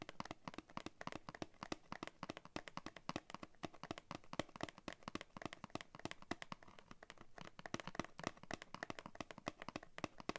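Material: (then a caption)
Paperboard. Fingernails tap rapidly on the back of a thin, hollow-backed, flat printed paperboard backing card from a scissors blister pack, held in both hands. The result is a quiet, steady stream of short, dry, papery clicks with almost no ring, a light hollow body around the low mids and some crisp brightness on each tap.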